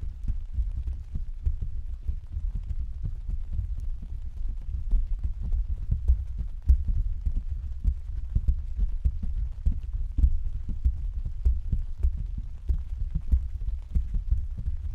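Several hands tap and pat with their fingertips on the thin, hollow canopy of an open translucent white plastic/vinyl umbrella on a stand. The result is a dense, continuous patter of soft, deep, muffled thumps with short decays, like rain drumming on the canopy.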